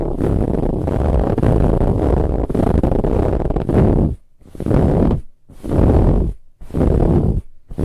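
Long nails scratch hard at a soft brown ribbed fabric pillow, making a dense, muffled, low-heavy rasping. The scratching runs steadily for about four seconds, then breaks into four separate strokes with short quiet gaps between them.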